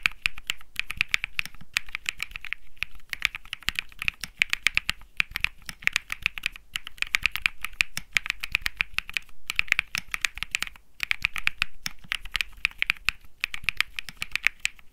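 Fingertips type steadily on a compact Think 6.5 mechanical keyboard with an aluminum case, PC plate, Bsun Lollipop switches and plastic keycaps. The result is a dense, continuous run of crisp, bright clacks centered around 2.3 kHz with a light low thud beneath, each keystroke dying away almost instantly, with only brief pauses in the rhythm.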